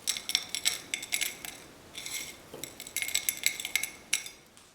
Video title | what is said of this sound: Prosciutto Melon Granita - Frozen Italian Dessert - Food Wishes | you can hear how crispy those are going to be